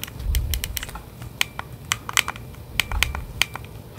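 Gloved fingertips click the buttons and tap the casing of a hollow plastic Nintendo Switch Joy-Con controller in its grip, held at the base of a microphone. A rapid, irregular series of sharp, dry plastic clicks and taps rings briefly around 2.4 kHz with bright highs, over soft low thumps of handling near the start and end.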